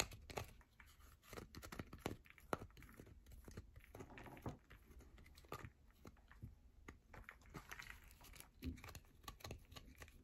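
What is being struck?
Bar of soap.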